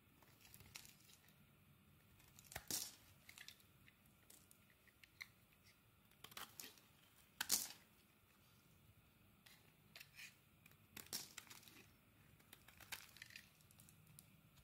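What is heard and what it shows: A metal blade scrapes and carves pieces off a solid purple soap bar held in the hand. The sound is quiet, crisp and high, with irregular bursts of dry, tearing scrapes separated by softer shaving and brief pauses.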